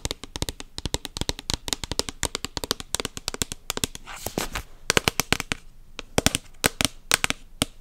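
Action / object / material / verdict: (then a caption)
tap / plastic lotion pump bottle / plastic / none. A white opaque plastic lotion bottle with a pump is tapped rapidly with long nails close to the mic. The result is a fast, irregular stream of sharp, bright clicks with almost no ring. A brief softer rustling passage comes just after the midpoint.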